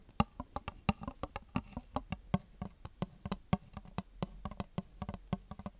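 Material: Plastic.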